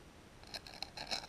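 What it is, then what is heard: Gritty abrasive valve lapping paste. Abrasive valve lapping paste is rubbed and scraped, giving a series of quiet, bright, gritty crunches over a faint hiss. The crackling shows the compound is grainy and abrasive, like coarse toothpaste.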